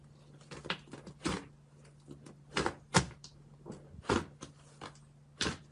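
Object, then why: Soft fluffy slime in a glass bowl. A large mass of soft pink fluffy slime in a clear glass bowl is pressed, folded and squeezed with fingertips and palms. This makes a series of moist squishes and crackly, bright air-pocket pops. A faint steady low hum runs underneath.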